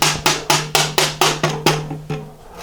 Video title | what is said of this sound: 1983 BMW R80ST Install-Align Front Forks & Toaster Tan Top Brace | that means that the right leg is pushed back